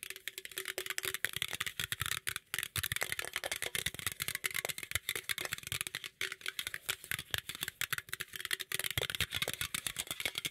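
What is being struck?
Aluminum drink can.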